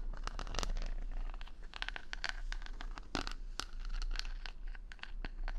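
Fingertips and nails stroke and scratch the wooden pin bristles of a wooden paddle brush, set in a rubber pad, close to the mic. Rapid bursts of dry, bright scratching and clicking crackle over a steady low hum throughout.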